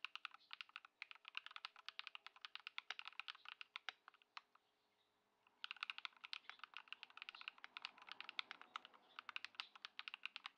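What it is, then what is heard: Modded mechanical keyboard, typing. Continuous two-handed fingertip typing on a compact Ducky One 2 SF mechanical keyboard, modded with Poron foam and Lumia Matcha switches, with white plastic keycaps, resting on a wooden desk. Rapid, bright, crisp key clacks with almost no ring come in steady bursts. A brief pause falls in the middle before the typing resumes.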